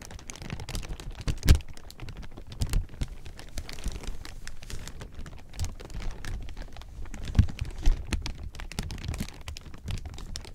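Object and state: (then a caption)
Clear plastic sheeting crumpled. A large heap of thin clear plastic sheeting is squeezed and crumpled between fingers, making a continuous dense crinkle of quick, crackly snaps over a low, soft rustle. Two louder crunches stand out near the start and toward the end.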